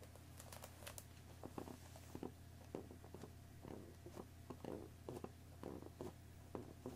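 Long nails tap and scratch the front and top of a hollow cardboard tea box wrapped in crinkly cellophane film, resting on a wooden table. Soft, dry taps and crackly plastic rustles come in quick, irregular bursts over a steady low hum. The sound stays quiet throughout.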